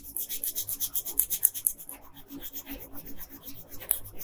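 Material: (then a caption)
Paper. A blue wooden colored pencil makes sparse, light scratching strokes across a thin paper coloring sheet lying flat on a table. The short strokes come as a series of soft, bright rasping bursts with a dry, papery texture. The strokes are quick and brighter at the start, then quieter and more even toward the end.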